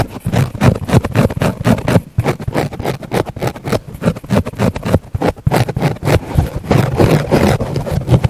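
Fingertips and nails poke and press into a thick round pink foam sponge near a small black mic embedded in it. The result is a dense run of rapid, irregular, muffled low thumps and soft rustling pulses that continue throughout.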